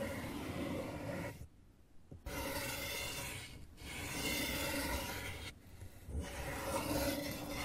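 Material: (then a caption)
Cardboard. Fingernails slowly rub and scratch across an open, hollow brown corrugated cardboard box. The result is a dry, broadband rasping in three long passes separated by brief quiet gaps, with a faint hollow body under the bright scratchy texture.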